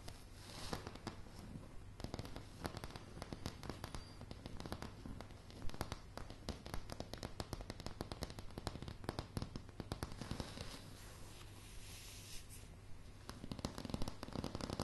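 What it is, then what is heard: Solid wooden plank floor. Solid light pine floorboards are tapped and scratched rapidly with long, dark polished nails. The result is a quiet, dense stream of dry, crackling clicks with very short ring over a steady low rumble.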